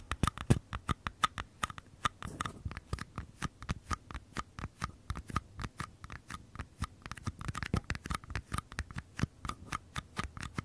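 Fingernails scratch and tap the paper side walls of two identical small, empty paper cups held sideways near the mic. The result is a steady run of dozens of short, dry taps with papery scratching, each click bright and quick to die away, with a soft low thump under it.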